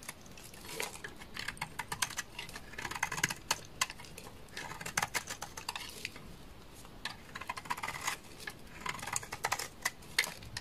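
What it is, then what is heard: Soap bar scraped with a blade. A utility knife blade scrapes a hand-sized, solid, dark red translucent soap bar, sending shavings falling. The sound is a rapid, dry, bright crackle of many short clicks arriving in dense bursts. Each burst is separated by brief quieter pauses, with little low end.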